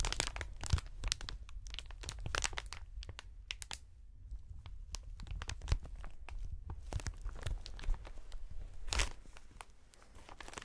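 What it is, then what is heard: Plastic air cushion packaging being crinkled. A clear plastic strip of inflated air pillows with green print is held horizontally in gloved hands, then twisted and squeezed. The thin film gives off a dense run of crinkling and crackling bursts, with sharp bright snaps over a steady low rumble. The quick pops stop almost at once.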